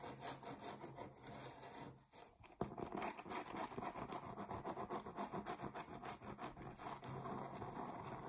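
Long nails scratch the surface of a round, thin, solid cork coaster held in the hands, producing a steady run of dry, raspy strokes. The scratching briefly drops off just after two seconds, then resumes with a sharp stroke and continues in a quick, uneven rhythm.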